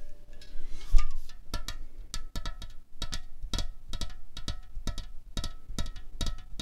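A slim 0.33 L Coca-Cola Cherry aluminium can, hollow and resting on a tablecloth, is tapped with long fingernails and fingertips. The taps come as quick, short, bright clicks with a faint metallic ring, in an uneven rhythm. Softer rubbing and handling sounds fill the gaps between them.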